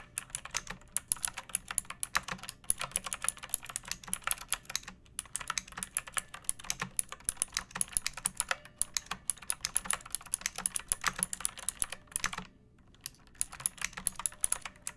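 Fingertips with long painted nails type steadily on a pink plastic mechanical keyboard with round keycaps and a hollow case, resting on a wooden surface. Dense, rapid streams of short, bright plastic clicks come with little low-end thump. Each keystroke dies away almost instantly, with one brief pause near the end before typing resumes.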